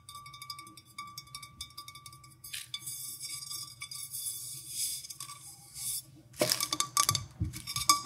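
Long nails and fingertips tap the sides and rim of a clear, printed, hollow, empty drinking glass, first while it is held and then after it is set down on dried petals. Many quick, bright clinks ring with a steady glassy tone near 1.2 kHz, over a soft low rumble. Bursts of crisp, crackling rustle from the dried petals come in the middle and grow louder toward the end.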